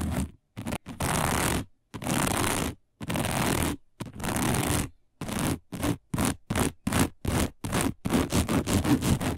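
Long nails of both hands scratch across a round, dark, coiled woven fiber placemat, making dry, broadband scraping rasps. The first strokes are long, sustained sweeps, then they turn into shorter, quicker bursts with brief silences between them, growing faster and denser toward the end.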